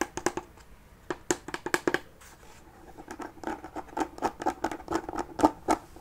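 Fingernails scratch and tap on the lid top and metal handle of a closed mini chest made of wood covered in faux leather. The result is a fast, irregular run of dry, short taps and scratches with a midrange body, very little bass and almost no ring. A brief lull in the middle gives way to a denser stretch of tapping.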